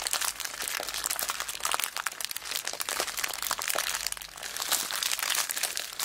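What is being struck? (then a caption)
Plastic zip bag full of small beads. A small clear plastic zip bag full of colourful beads is squeezed and crunched in both hands with long black nails. It makes a dense, continuous run of bright crinkles and sharp little crunches, with almost no low end, lasting about six seconds.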